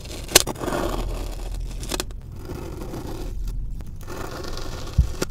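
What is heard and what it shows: A long steel knife blade presses and drags through a flat molded slab of packed orange kinetic sand resting on a white surface, scoring it into a grid. It produces a soft, gritty scraping and crunching rustle, punctuated by a few sharp ticks as the blade cuts in.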